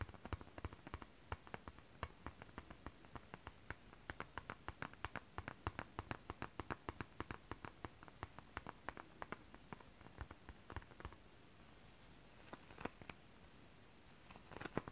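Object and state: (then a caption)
Holographic scale-print fabric. Long acrylic nails scratch and tap across a flat holographic mermaid scale-print fabric sheet. The result is a quiet, steady run of short, dry clicks over soft scratching. It eases into a brief stretch of gentler rubbing before a few sharper taps at the end.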